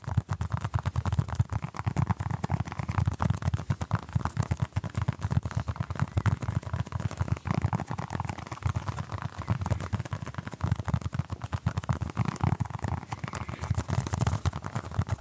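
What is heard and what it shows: A small orange basketball-patterned stress ball, apparently solid soft foam, is cupped in both hands close to the microphone while fingertips scratch and tap over its surface. The result is a steady stream of soft, dull, low thumps and scratchy rustling with almost no ring, continuing throughout.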